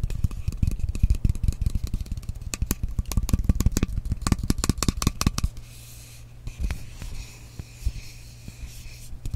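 Long nails scratch and rub the surface of a frosted glass mist bottle that is partly filled with liquid. For the first five seconds there is a dense run of quick, sharp clicking scratches. After that, quieter, softer rubbing continues over a steady low hum.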